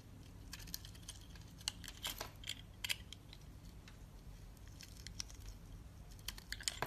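A solid green soap bar with a textured surface has its top layer shaved off with a utility-knife blade. Quiet, crisp scraping and crackling is heard, with many short, bright snaps and flakes over a faint low hum.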